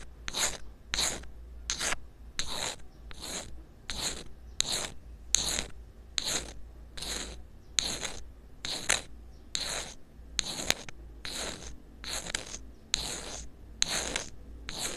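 A thin metal pick rubs and scrapes a small black rubber-coated inline earphone microphone that is taped down. The result is a steady run of short, bright, raspy scraping strokes, roughly one per second, over a constant low hum.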